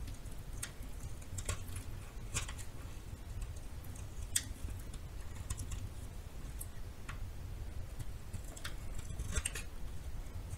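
A metal knife scrapes along the edge and face of a solid yellow bar of soap. Soft, scattered high ticks and brief scratchy clicks sound over a steady, quiet low rumble, each one dying away almost instantly.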